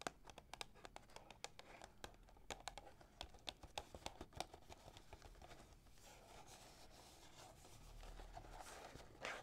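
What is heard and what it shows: Long nails tap and rub the surface of a small, hollow Yogi Ginger cardboard tea box held on a table. Quick, dry, clicky taps come in a busy run through the first half, then give way to a softer, hissy scratching and rubbing that swells slightly toward the end, all at a quiet, close level.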